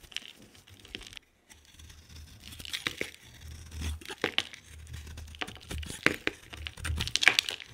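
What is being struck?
Bar of soap.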